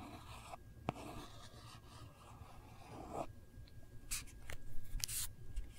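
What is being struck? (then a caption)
Hard plastic phone case. Long nails trace, scratch and lightly tap the back of a hard plastic Kate Spade phone case. Soft, breathy scraping and rubbing run over a low background rumble, broken by a few quick, bright taps, mostly toward the end.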